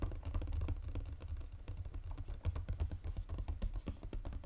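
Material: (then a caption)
Paperboard. Fingernails tap fast on the flat, hollow underside of a Godiva chocolate box made of glossy gold-coated paperboard. The result is a rapid, continuous patter of short, dull, low-pitched taps with no ring.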